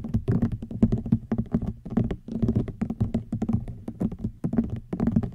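Fingernails tap and scratch on a woven rattan wicker basket, heard close up. Quick, dry, low-pitched taps with a light hollow tone come in dense clusters, mixed with soft scratching, with no ring after each tap.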